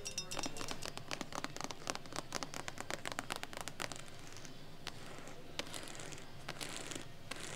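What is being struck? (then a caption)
Embossed faux leather handbag. Long nails rapidly scratch and tap the textured surface of a medium, hollow brown handbag made of glossy embossed crocodile-pattern leather or faux leather with a small metal heart charm. The first four seconds are a dense stream of crisp, bright, dry clicks over a low rumble. The rest becomes sparser, with a steady soft scratchy hiss and occasional sharp taps.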